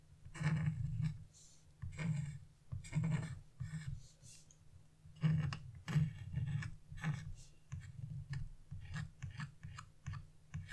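A narrow chisel tip, held in fingers with long blue-painted nails, scratches strokes across a flat wax-coated scratch-off coloring page (black coating over colored paper) lying on a wooden table. The strokes come as a series of short, dry scraping bursts with a low rumbling body around 156 Hz and faint bright edges, each dying away quickly.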